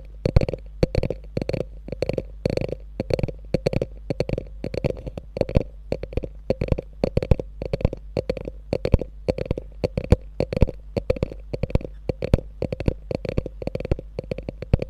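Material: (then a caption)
Faux leather. Long nails tap and scratch the top and front of a small, hollow, beige chevron-quilted faux leather mini bag with a gold clasp resting on a fur rug. The result is a rapid stream of short, dry taps with dull low thumps and a bright, scratchy edge. Each tap dies away almost at once.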